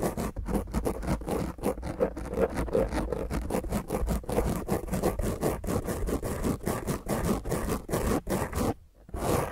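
Long grey fingernails on both hands scratch rapidly and intensely across the top of a black dome foam microphone windscreen. The result is a dense, rough, low-heavy scraping with many quick strokes running almost continuously. It drops out briefly near the end, then resumes.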